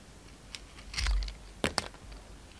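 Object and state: Bar of soap being shaved.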